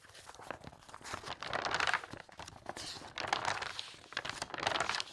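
A bundle of pages in a large, open glossy paper interior design magazine lying on a fabric tablecloth is fanned and flipped rapidly by a hand with long red nails. The sound is a fast, crisp papery flutter and crinkle that swells into louder, bright bursts of rustling and then eases back between them.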